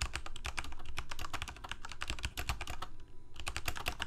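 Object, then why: Plastic mechanical keyboard. Fingertips of both hands type rapidly on a full-size Corsair K68 backlit plastic mechanical keyboard with Cherry MX Red switches. The result is a quick, steady stream of clacky key taps with a low, thumpy body and short, bright clicks, with a brief dip in the typing just after the three-second mark.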